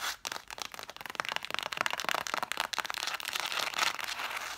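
Long nails rapidly scratch and tap along the spines of a stack of red cloth-bound hardcover books. The result is a dense run of crisp, dry scratches and short clicks, bright and hissy with almost no low end.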